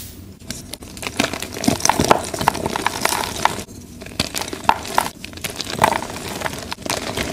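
Fingertips squeeze and crumble broken pieces of soft, plain white gym chalk blocks (magnesium carbonate), solid and crumbly, into powder while holding them over a pile of chalk chunks and powder. Dry, brittle crackles and sharp little snaps come in dense bursts separated by brief quiet gaps, with a bright, crisp top end. The pieces break down steadily into fine powder.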